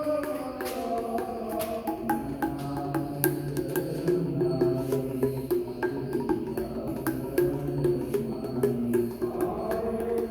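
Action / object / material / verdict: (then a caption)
tap / carved granite temple pillar / granite / solid. The carved granite musical pillars of the Vittala Temple in Hampi are tapped in a quick, uneven series, each strike giving a short, bell-like tone near 360 Hz with layered overtones. Each pillar is solid, not hollow: it is one single piece carved into columns of different diameters and designs, which is why each one sounds a different note.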